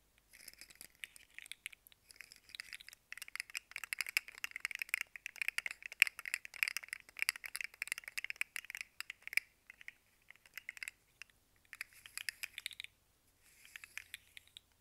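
A rainbow segmented plastic fidget slug toy is held up, bent and shaken by hand so its segments clack against each other. The result is quick, irregular bursts of dry, bright plastic clicks and rattles with almost no low end and no ring, broken by short pauses near the end.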